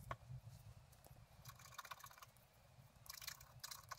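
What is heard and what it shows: A wooden stylus scratches a bicycle in a blooming meadow into a flat black-coated scratch art card lying on a table, with the other hand held flat on the card. Quick, dry scratching strokes come in uneven bursts, with bright, gritty crackle over a soft low rumble.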